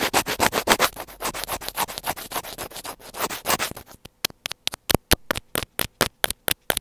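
A thin black pointed tool scratches along a small white plastic earphone inline mic housing on a cable, making bright, dry scraping sounds picked up close to the mic. For about four seconds the strokes run together in a dense, rapid rasp, then they turn into separate short, sharp scratches with near silence between them.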